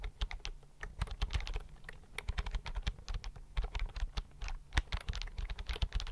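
Fingertips type rapidly on a slim white plastic computer keyboard held tilted near the mic. A fast, uneven stream of short, crisp key clicks, each with a bright tick over a soft low thump, dies away almost instantly.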